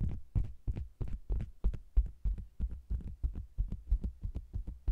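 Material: Faux leather.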